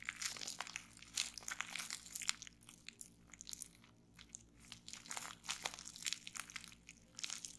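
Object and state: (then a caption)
Plastic bubble wrap. A small folded piece of clear plastic bubble wrap with air-filled bubbles is held on a wooden table while fingertips with long painted nails squeeze and pop the bubbles. The result is a rapid, irregular series of sharp, bright snapping pops mixed with crisp plastic crinkling, with very little low end and almost no ring after each pop.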